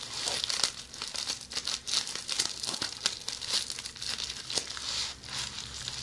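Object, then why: Plastic bubble wrap scratched by fingernails. A roll of red plastic bubble wrap held in hands is scratched by long polished fingernails, producing continuous bright crinkling and rustling. Quick, sharp scratch and click accents rise and fall through the clip, with almost no low end.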